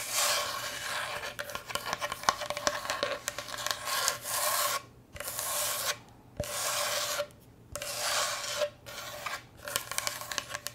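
Long nails scratch and rub along the surface of a solid, rectangular striped bamboo cutting board held tilted in the hands. The result is a bright, dry rasping scrape, sustained in stretches and broken by short silent pauses, with a faint steady tone running underneath.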